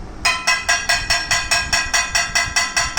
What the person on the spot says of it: असं ठोकलं की त्याचा आवाज येतो. Ringing property of metal.